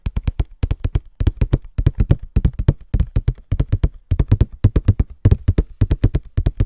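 A small, hollow Scotties tissue box of printed cardboard is held in both hands and tapped quickly with fingertips and nails. About 45 dry, low, hollow thuds come in quick bursts of three or four, each with a faint bright click from the nails. They stop instantly with no ring.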